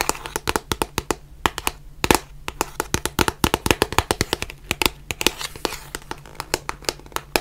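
Long nails tap and scratch along the edges and faces of a small white cardboard box of surgical masks. The result is a rapid, irregular stream of sharp, dry clicks with bright, crisp tops and almost no ring, with soft scratchy rustles between them over a faint steady low hum.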